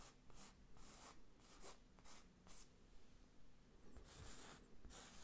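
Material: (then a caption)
Canvas. Fingertips trace and scratch the raised lettering on a medium square IKEA New York wall picture, a textured print on a rigid frame held close to the mic. Quiet, bright, scratchy strokes rise and fall in a loose, steady rhythm of roughly two per second, with a low rumble underneath.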